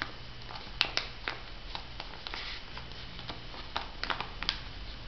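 Long nail tips tap on a flat, filled Missha sheet mask packet of olive-print plastic foil, held in both hands. Light, dry, bright ticks scatter unevenly, each dying away almost at once. A steady low hum sits underneath.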